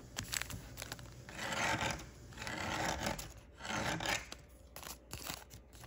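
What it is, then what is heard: Origami paper sheet being rubbed. Fingertips run along the creases of a narrow folded piece of thin origami paper, rubbing it, then lift it. Three soft, breathy rubbing swells are heard, dotted with small crisp ticks and a papery crinkle at the end as the paper is lifted.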